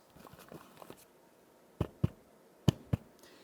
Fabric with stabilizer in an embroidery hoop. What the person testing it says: If you can hear a crisper sound, it means that the tartness is tight enough.